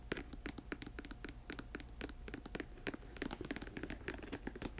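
Long nails tap and scratch on a black patent leather boot, first on the glossy upper and then on the treaded rubber sole with the boot turned over. About 25 short, sharp clicks with dry scratching between them. Each click has a bright, crisp top and dies away almost at once.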